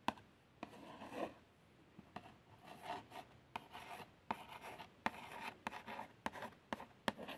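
Long French-manicured nails trace lightly over the printed front of a small, hollow cardboard box of fabric plasters. Soft, dry scratching and rubbing strokes are broken by sharp, quick nail ticks, with a bright papery hiss and very little low end.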